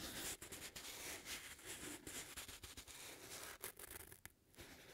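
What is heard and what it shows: Fingertips scratch and squeeze the upper of an empty, hollow black leather lace-up boot with metal eyelets and a padded collar, held in both hands. A quiet, dense run of dry, bright scratching and crinkling rustles continues throughout, with only brief dips between strokes.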